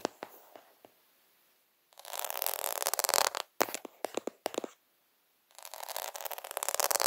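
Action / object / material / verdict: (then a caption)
scrape / plastic half-pearl sticker sheet / plastic / none. Fingers quickly scratch and rub across a plastic faux pearl sticker sheet of half-pearl beads. A few light, sharp ticks give way to bursts of dense, bright, rasping scratching, broken by a run of quick clicks and a short silence before the scratching resumes.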